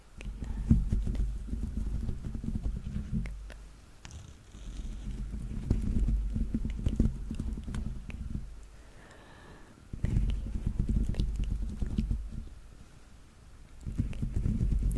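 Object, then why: Stuffed plush toy foot with textured rubber sole. A yellow Teletubby plush is held beside the microphone while fingertips and nails tap and scratch the grey, rubber-dotted textured sole of one of its stuffed feet. The result is dense, rapid, low, muffled thumping and scuffing in three long bursts, separated by quieter stretches of faint rustling.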